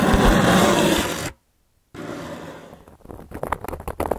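A hand with long yellow nails scratches and traces a carving tool over a round, flat, solid cork coaster. A dense, rough scraping opens the clip, then breaks off into a brief silence. Quieter continuous tracing follows, ending in a run of short, sharper scratches.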